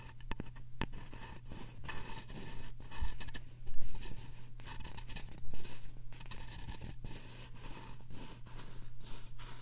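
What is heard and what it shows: Thin wooden sticks, one in each hand, scratch and rub both soft silicone ear-shaped covers of a binaural microphone at the same time. The result is a continuous run of close, dry scratching and scraping with a bright hiss, over a steady low hum.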